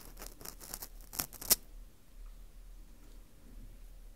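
An orange plastic earpick scrapes and scratches inside the hole of a hollowed ring of dry, porous Japanese fu (dried wheat gluten), held in a gloved hand close to the mic. A quick run of bright, crisp, dry scratches fills the first second and a half, with the two sharpest clicks near the end. Then it falls to a quiet stretch with only a faint low hum.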